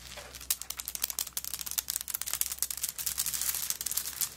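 Long nails tap and scratch across a handbag covered in coconut shell chips with a wooden bead handle. They make a rapid, uneven series of sharp, bright clicks mixed with dry, crackly scraping. Each click dies away almost instantly and there is almost no low end.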